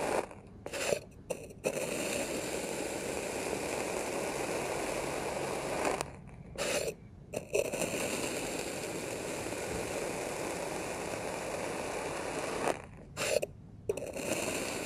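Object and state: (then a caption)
Kinetic sand scraped with a blade. A dark knife blade tip scrapes and cuts through packed red kinetic sand in a small square plastic tray whose surface is already grooved. The sound is a steady, gritty, crunchy scraping centered in the mids, broken by a few short quiet pauses as the blade lifts and starts each new stroke.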